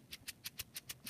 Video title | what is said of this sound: Hand tools | when you shake it you can hear the sand or pellets inside